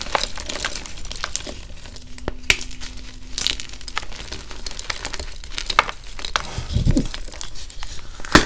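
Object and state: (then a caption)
Reformed gym chalk block being crushed. Bare fingers and thumbs squeeze and crush blue-dyed, reformed gym chalk (magnesium carbonate) blocks, solid and crumbly, piled in a bucket next to glittered chalk bars. A steady stream of crisp, glassy crackles and brittle snaps rises over soft crumbling, with sharp bright clicks standing out. The blocks break into chunks and powder.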